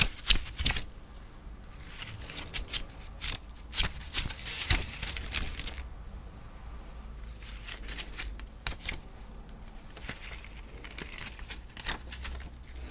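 Long nails riffle through the layered page edges of a folded book-page paper pumpkin with a twig stem, making a dry, crisp, card-shuffling flutter. The fluttering comes in bursts of quick, bright paper flicks over a steady low hum, loudest in the first half and then softer and more scattered.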